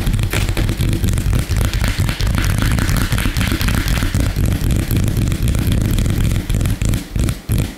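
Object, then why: Wooden tabletop. Fingertips and short nails of both hands tap and scratch very fast and aggressively on a flat, solid, light-colored wooden tabletop. The result is a dense, steady stream of deep knocking thuds mixed with a bright, gritty scratching hiss, with only brief dips between bursts.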